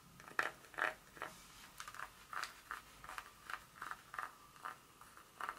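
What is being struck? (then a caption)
Dark chocolate bar tapped and scratched with fingernails. Long nails tap and scratch the segments of a solid dark chocolate bar held in a hand, making quiet, crisp clicks and short scrapes in an uneven rhythm. Each touch is brief and dry with almost no ring, centered in the midrange with a bright edge and nearly no low end.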